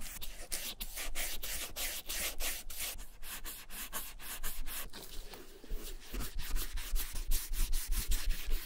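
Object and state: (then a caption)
Leather satchel rubbed. A cotton ball held in metal tweezers is rubbed in repeated strokes along the top edge near the handle of a vintage German leather satchel during dye and restoration work. Each stroke gives a soft, bright, brushy swish, coming in a loose, steady rhythm of about two and a half per second over a low, constant rumble.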